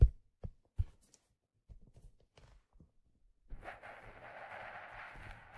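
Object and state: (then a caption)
Leather fedora hat tapped and rubbed. Fingertips tap and rub a hollow, empty black leather fedora held in the hands and tilted. A few soft, dull, low thumps come first, then fainter scattered taps, before a steady, brushy rubbing sound fills the last two seconds.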